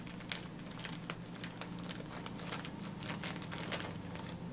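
Fingertips press, squeeze and crinkle a clear plastic zip-lock freezer bag with a pink zipper strip, filled with blue disposable face masks and held at chest height, working along the zipper to seal it. Sharp, bright plastic crinkles and crackles come in quick irregular bursts over a steady low hum.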